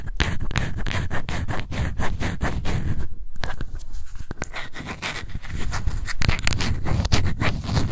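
Long white nails scratch the lid and sides of a small, light-blue, round plastic face powder jar. The result is a dense run of quick, rasping strokes, heavy in low rumble with faint bright edges. There is a brief lull around the three-second mark before the scratching picks back up.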